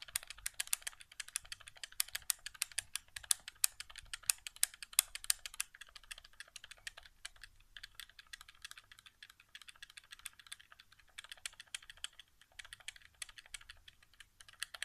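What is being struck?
Plastic game controller.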